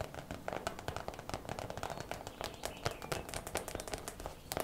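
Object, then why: Plastic zip pouch holding hair rollers. A clear plastic zip bag full of hair rollers, turned on its side, is tapped quickly with long nails. The result is a rapid, light stream of sharp clicky taps with brief plastic rattles and a dry, bright edge, each tap dying away almost instantly at a fairly steady, soft level.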